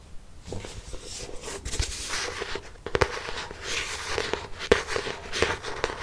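Long nails scratch across the front and back covers of a black hardcover notebook, making a steady, bright, dry rasping texture. Occasional sharp clicks stand out where a nail catches the cover.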